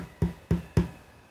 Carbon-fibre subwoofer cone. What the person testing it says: kalau diketuk keras sekali bunyinya